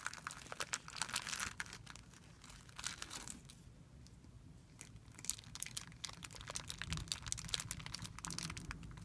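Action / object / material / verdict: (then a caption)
scrape / thin clear plastic film bag / plastic film / none. Fingertips rub and pinch a thin, clear plastic film bag resting on a white surface, producing dense, bright crinkling and crackling. The crinkles ease off briefly in the middle and then pick up again over a faint low background rumble.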